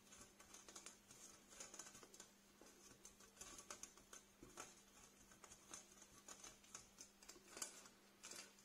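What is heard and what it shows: Fingernails tap and scratch across the wires of a small, empty black metal wire storage basket held upside down. Quiet, bright, irregular clicks and scratchy rasps come in quick clusters, each dying away almost at once, over a faint steady low hum.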